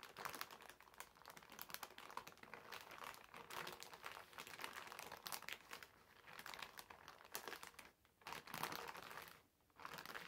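Fingertips of both hands rub and scrunch a medium, clear polyethylene zip-lock bag with a blue zipper that lies flat and empty on a white table. The result is steady, dense, bright crinkling with almost no low end, easing briefly around the 8- and 9.5-second marks before picking back up.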